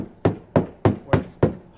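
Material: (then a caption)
Fiberglass. A fiberglass boat hull section with no bulkhead or support behind it is knocked for comparison with a supported spot. It gives five evenly spaced, short, low, hollow knocks, and a sixth starts at the very end. The hollow sound is normal for an unsupported area.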